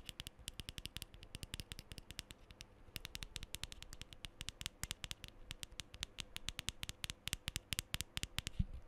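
Fingertips and nails tap rapidly on the body and bottom rim of a hollow black metal aerosol deodorant can held close to the mic. Dozens of quick, dry, bright clicks sound over a low hollow thump, each dying away almost at once.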